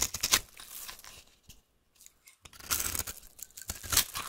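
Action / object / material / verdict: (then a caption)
scrape / bar of soap cut with a metal knife / soap / none. A metal knife cuts and scrapes a solid orange oval bar of soap held in the hand, shaving it into crunchy flakes. Bright, crisp scraping and crackling comes in two bursts separated by a near-silent pause, with the second burst louder and denser.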